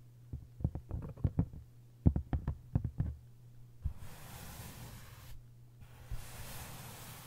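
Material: Paper, board.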